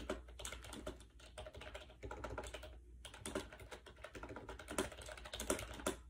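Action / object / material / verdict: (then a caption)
tap / plastic wireless keyboard with round keycaps / plastic / none. Fingertips type fast on a compact gray plastic AJAZZ 308i wireless Bluetooth keyboard with round white keycaps, resting on a bed. The hollow plastic keys give a dense stream of short, clacky clicks with a faint low hum underneath, and each click dies away almost at once.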